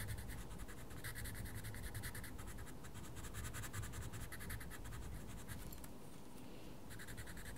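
A wooden coloured pencil scratches repeatedly across a mandala page in a small paper colouring book. The quick strokes make a steady, rhythmic, bright scratching over a low background rumble, easing briefly near the end before resuming.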